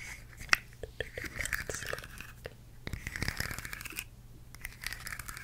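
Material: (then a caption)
Plastic. A rainbow plastic articulated slug fidget toy with a blue head is held in one hand while long nails tap and scratch its ridged, hollow plastic segments. Quick, dry clicks mix with brittle, crunchy scratching rasps that sound bright and close, with a faint low hum underneath. Each tap dies away almost at once.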